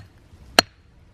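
A rock in a boulder field is struck once and gives a short, dull chop with a brief bright click. It sounds almost hollow and does not ring, dying away almost immediately.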